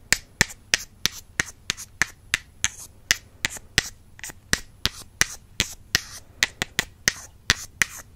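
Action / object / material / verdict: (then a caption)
tap / slim wooden makeup brush handles / wood / none. Two slim, solid wooden makeup brush handles, held in fingertips with long nails, are tapped together close to the mic. About 24 sharp, dry clicks come at a steady pace, bright and woody with almost no ring or low end, over a quiet background.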